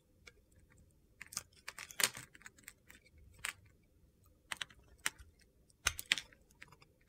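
A solid green bar of soap held in the palm is scraped and sliced with a metal box-cutter blade, with flakes piling up below. About fifteen crisp, bright cuts and scrapes click and crunch irregularly over quiet pauses, each dying away almost instantly.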